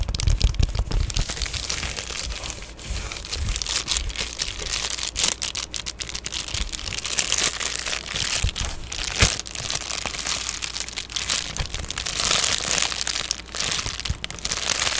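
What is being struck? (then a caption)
Padded plastic bubble mailer. An Amazon Prime padded poly bubble mailer is squeezed and crinkled in the hands near the face. The result is dense, continuous, bright crinkling and crackling with many quick, sharp bursts. A steady low hum sits underneath throughout.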